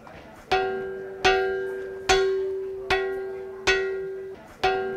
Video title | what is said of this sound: Những điều ĐỘC ĐÁO chỉ có ở BÍCH ĐỘNG - Khám phá Việt Nam - NOBI TV #khámpháviệtnam | khi ta gõ vào khánh có tiếng kêu rất vang và trong